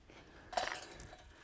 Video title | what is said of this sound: Matt is in Missouri? At Eagles Crossing?! | They sound good too. That's always a good trademark or good hallmark of a basket, is making sure it sounds good, it sounds solid